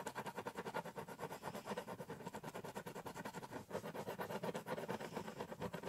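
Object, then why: Ballpoint pen on corrugated cardboard box. A ballpoint pen held in the fingertips scratches shading strokes onto the top of a large, hollow corrugated cardboard shipping box. It makes a steady run of rapid, dry scratching strokes with a papery, mid-range rasp and a slight hollow body from the box, and only a little bright hiss.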